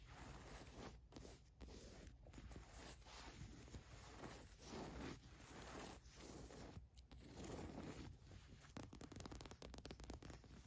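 Long nails scratch across the white MILWAUKEE print and the fleece of a green cotton fleece sweatshirt lying on a rug. The result is a steady, soft, rasping scratch with a low rumble underneath, broken by brief pauses between strokes.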